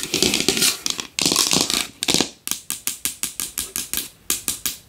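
A large wooden bowl is tapped fast and hard with long nails, giving bright, dry clicking taps with little low end. The first half is a dense, blurred flurry of rapid tapping; the second half breaks into distinct, sharp taps that each fade quickly.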